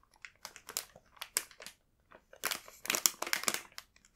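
Fingertips tap and rub the soft surface of a full, printed plastic bag of burdock rolls. The result is bright, dry crinkling in short bursts, with a quiet pause near the middle before a denser run of crinkles.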